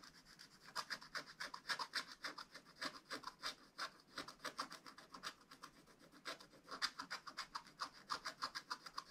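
A wooden stylus held in the hand scratches the black wax-coated surface off a scratch-art page in a spiral-bound book lying flat on a table, revealing a colourful dragon picture. It makes quick, dry, bright scratching strokes in an uneven rhythm of about three to four per second, with short pauses between bursts. The sound is quiet and high, with almost no low end.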